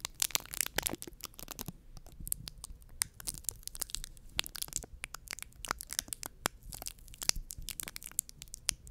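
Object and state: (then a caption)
Foam microphone windscreen. Long painted nails scratch a soft, porous white foam microphone windscreen while fingertips squeeze it. The result is a dense run of sharp, bright crackling and crinkling scratches with faint low rustle beneath. Each snap dies away instantly.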